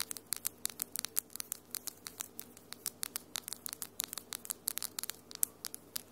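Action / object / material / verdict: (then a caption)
tap / long acrylic fingernails / acrylic / none. Long almond-shaped acrylic nails with solid pink and lilac glitter polish tap and scratch against the nails of the other hand, close to the mic. About 35 sharp, bright, dry clicks come in quick, uneven bursts with almost no ring. A faint low hum runs steadily underneath.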